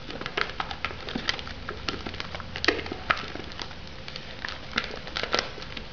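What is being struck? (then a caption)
Plastic-wrapped foam cup. Long nails tap and scratch the lid and sides of a shrink-wrapped foam noodle cup. The result is a rapid, uneven series of sharp, crinkly clicks and scrapes with bright plastic crackle, over a faint steady low hum.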